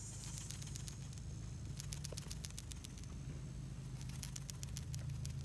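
A Honda/Acura PCV valve, removed from the engine, is shaken in three bursts, and the small metal check ball inside rattles freely as sharp, rapid high clicks over a low steady hum. The free rattle shows the valve is working and not stuck.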